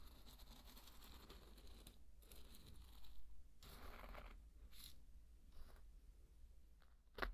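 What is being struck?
Dry pearl barley grains and a thin wooden stick.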